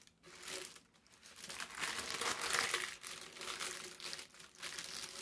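A thin sheet of brown parchment paper is lifted and folded with both hands while fingertips with short nails crinkle and rub it. The result is a dense, bright crackling and rustling in uneven bursts that swell and fade, with almost no low-end body.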